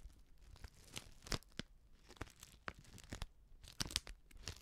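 Long nails scratch and crinkle a small, filled Betty Bossi Fladli instant soup packet made of plastic foil. Quiet, dry crackles and tearing-like crunches come in irregular bursts, with brief bright snaps standing out from soft rustling.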